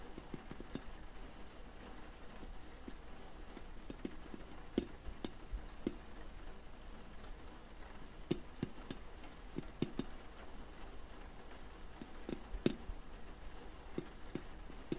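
Fingernails tap on the closed glass lid and wooden frame of a wooden tea box. Quiet, sharp, very short ticks sound at irregular intervals over a low, steady background hum.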